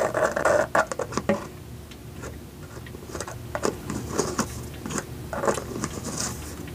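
Fingertips and nails tap on the white lid and sides of a small clear plastic jar with a purple label, held in both hands and partly filled with dry floral gel beads. A quick cluster of sharp, bright clicks and rattles opens the clip, then fades into softer, scattered taps. Short bursts of tapping return toward the end.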